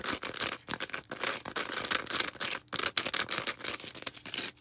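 Long red acrylic nails scratch rapidly across a small, star-shaped, green porous foam sponge. The result is a dense run of bright, hissy, rasping bursts with very little low end, broken by brief silent gaps.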